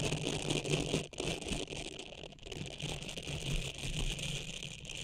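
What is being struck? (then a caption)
Silicone scrubber pad. A small, flexible blue silicone scrubbing pad with soft bristle nubs is held in both hands just above the microphone while long painted nails scratch and flick across the bristles. The result is a dense, continuous rattling crackle with a low hum underneath and a bright, hissy top. A short dip in the texture comes just after the first second.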